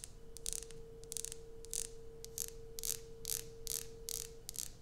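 Long fingernails scratch and tap the embossed surface of an unwrapped, solid light-blue Coast bar soap held in the other hand. The result is a series of short, bright, gritty scratching bursts over a low background rumble, with a faint steady hum running underneath until near the end.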